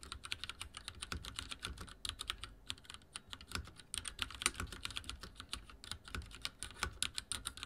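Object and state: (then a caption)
Mechanical keyboard with plastic keycaps. Fingertips type quickly on a backlit mechanical keyboard with dark plastic keycaps. The result is a steady stream of short, bright clicks and clacks with a faint low thump under each keystroke, and each one dies away almost instantly.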